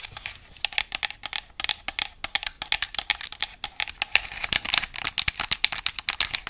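Long acrylic nails rapidly tap and scratch the shell and buttons of a hollow white and black plastic PS5-style game controller held in both hands. The result is a dense stream of crisp, dry, bright clicks and scratchy rustles with almost no low end and no ring after each tap.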